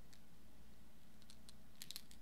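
A nearly empty pen ink cartridge is shaken so the small metal ball bearing inside rolls back and forth, the bearing that keeps the ink flowing. Faint, bright ticking rattles come through, with a small cluster of sharper clicks near the end over a steady low hum.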